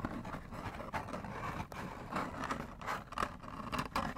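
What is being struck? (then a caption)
Small cardboard food box. Fingernails scratch and scrape a small, hollow orange-and-green McDonald's cardboard box. The result is soft, dry, rasping strokes with a papery midrange tone around 1.1 kHz, arriving in short uneven bursts that stop almost instantly with no ring.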